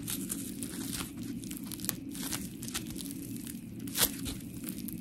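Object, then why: Polymer foam scrub sponge. A palm-sized, round, white textured polymer foam scrub sponge with smiley cut-outs, solid, is squeezed and scratched with long pink nails. It makes a steady gritty, crinkly scratching over a low, dense rumble, with short bright crackles throughout. A sharper squeak stands out near the four-second mark.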